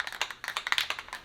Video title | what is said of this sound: Filler Primer [ 66 Buick Riviera ] Episode 41 | It's starting to rattle now, but it's still sluggish